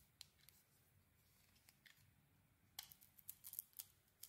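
A metal blade scrapes and carves the surface of a solid pink soap bar with gold lettering. Ten short, crisp, bright scraping clicks sound over quiet low hum, sparse at first and then clustered in a quick run toward the end. Each scrape dies away almost at once.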